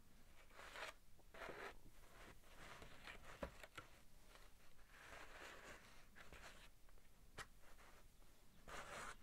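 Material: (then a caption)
Paper. A large thin sheet of drawing paper bearing a pencil costume sketch is held up in both hands and flexes slightly while a fingertip traces and slides over its surface. Soft bursts of rustling and brushing tracing sounds come and go, broken by a few sharp ticks and crinkles. The sound stays quiet and close throughout.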